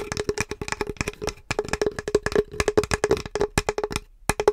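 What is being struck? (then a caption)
Small flat painted wood or MDF plaque. Long acrylic nails tap the surface and edges of a small, flat, solid painted wood or MDF Halloween sign plaque bearing a pumpkin and "Happy Spooktacular Halloween" design. Rapid, dry clicks with almost no ring come in irregular bursts, with a hollow woody knock centered near 414 Hz.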